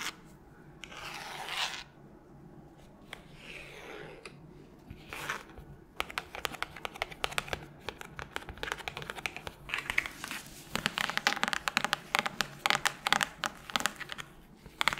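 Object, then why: Cloth-covered hardcover book. Long pointed nails scratch and tap on the cover of a solid red cloth-covered hardcover book, held in gloved hands close to the mic. Soft, airy swishing scratches give way after about six seconds to dense, rapid, crisp taps and scratching. The sound is bright and dry, with no low rumble.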